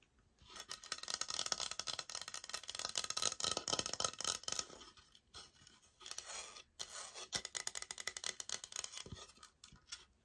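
Long nails scratch and tap on a thick laminate floor plank sample with a sticker label, which is briefly flipped to show its brown backing. The sound is a dense, bright, rapid scraping with quick tapping strokes and almost no low end, breaking off in short pauses around the middle before continuing.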